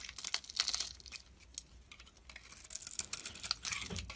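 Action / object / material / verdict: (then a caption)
scrape / bar of soap / soap / none. A metal blade shaves flakes off a solid oval soap bar with a dark red coating and a white core, held in the palm. Quiet, bright, crisp scraping and crackling comes in uneven bursts, with little low-end weight and almost no ring after each stroke.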